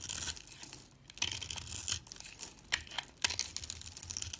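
A solid white soap bar with a blue mosaic-patterned edge, scored into small cubes, is scraped with a metal box-cutter blade. Bright, crisp scraping and crumbling bursts come in uneven strokes with short pauses, a few sharp clicks standing out, as the soap cubes crumble off.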